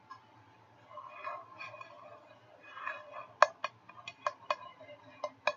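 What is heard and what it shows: Fingertips and nails scratch softly across the white ceramic nonstick interior of an empty medium frying pan for about three seconds. Then eight short, bright taps ring briefly off the inner surface.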